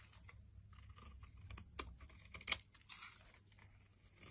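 A solid purple and white striped soap bar, held in the palm, is scraped and carved with a utility blade, and the flakes pile up. Quiet, bright, dry scraping and crunching strokes run throughout, with a couple of sharper, crisper cuts standing out near the middle.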